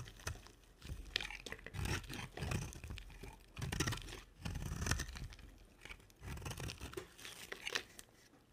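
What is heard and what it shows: A round, dry, solid white soap bar with a dark rim is held in one hand and carved and shaved with a box-cutter blade, with the shavings piling up beside it. Bursts of dry, crunchy scraping and tearing come in uneven waves, with bright crisp edges over a soft low rumble, and each cut stops short with no ring.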